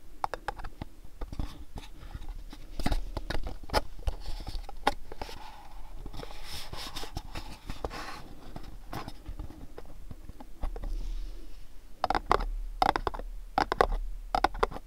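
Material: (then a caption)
Cardboard. Fingernails tap and scratch along the sides of a long mint-green cardboard gift box. Quick, dry taps with dull low thumps alternate with softer scratchy rustling, and the taps grow sharper and brighter near the end.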